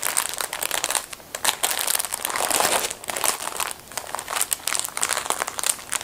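A small, flat, sealed blue-printed plastic film packet filled with folded disposable plastic gloves is handled and squeezed by hands in black fabric skeleton-print gloves. It gives dense, bright, continuous crinkling of the plastic film, with quick crackling bursts that swell and fade and almost no low end.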